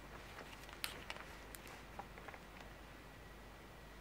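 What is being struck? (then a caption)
Thin plastic toy wing. A small, thin, solid dark green plastic dragon toy wing, detached and held in both hands, is scratched and tapped with very long curved natural nails. Faint, quiet scratching runs throughout, broken by about five sharper, bright clicks that die away almost at once. A second wing lies untouched on a white table.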